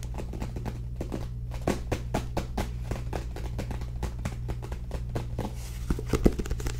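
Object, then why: Paperback book, paper and card cover. Long nails tap rapidly on the back cover and page edges of a small paperback book, making many short, dry, light clicks that die away almost instantly. A steady low hum runs underneath throughout, and a few taps stand out louder, one near the middle and one near the end.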